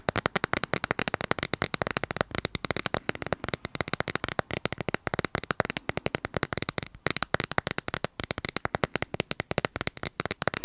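Fingernails tap rapidly on a smartphone in a clear plastic dragon-print case, held upright and then flat. Dozens of short, dry clicks with almost no ring follow one another in quick bursts across the clip, each a sharp broadband tick centered in the midrange.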